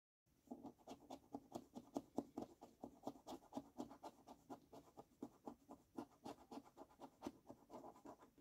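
A coin scratches the latex coating off the left column of a fresh paper scratch card lying on a wooden table. About thirty quick, dry rasping strokes follow one another in a steady rhythm, each with a soft low-mid body and a faint bright edge. The scrapes stay quiet and stop almost instantly.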